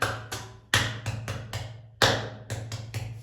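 A natural rock at the Avani hill site is struck eleven times, each hit giving a bright, bell-like ring over a steady low tone near 113 Hz that decays quickly. The rock rings with a resonant, musical sound rather than a dull thud.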